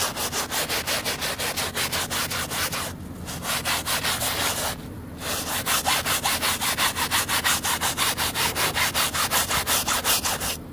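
A hand scrubs the foam-covered backing of a muddy woven fabric rug with a white plastic bristle brush, making about 26 quick, rhythmic back-and-forth strokes. Each stroke is a bright, wet, rasping scrape, with brief pauses near 3 and 5 seconds before the scrubbing picks up again, slightly louder.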